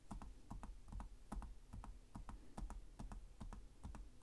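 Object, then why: Plastic laptop keyboard keys. One hand types with its fingertips on the plastic chiclet keys of a black laptop with a hollow chassis. The slow, unevenly spaced taps give short clicky clacks with a hollow, low thump beneath each one.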